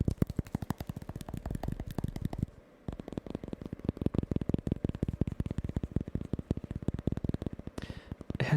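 A tiny store-bought pumpkin is tapped rapidly with the fingers, giving a steady stream of short, dull, muted low thumps. The tapping pauses briefly near the three-second mark, then resumes and ends with a soft brushing rustle.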